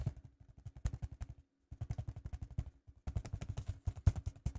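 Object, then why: Vinyl record in paper inner sleeve. Fingertips tap repeatedly through a white paper inner sleeve onto the label area of a 12-inch vinyl record held flat, its red label visible through the centre hole. The result is 36 soft, dull, low thuds that die away almost instantly, grouped in three rapid bursts separated by short pauses.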